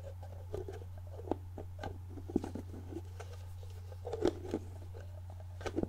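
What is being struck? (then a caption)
Plastic jar with screw-on plastic lid. A medium clear plastic jar with a product label and a white plastic screw lid, seemingly filled with solid contents, is held in hand while long painted nails tap, scratch and twist the lid. Soft, dry clicks and scratchy ticks come in scattered bursts, with a cluster near the end of the fourth second, over a steady low hum.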